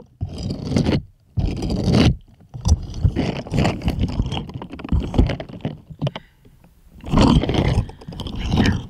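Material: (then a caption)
Silicone. Plastic toy hands scrape across the bristle pattern of a purple bristled silicone scrubbing glove. The result is a series of low, rough scraping and rubbing bursts separated by short pauses.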